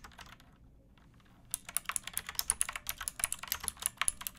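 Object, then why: Plastic mechanical keyboard. A pink backlit plastic mechanical keyboard with round keycaps and a hollow case, resting on a wooden box, is typed on by fingertips with painted nails. After a quiet low hum for about a second and a half, a quick run of bright, sharp clacks follows, each dying away almost instantly.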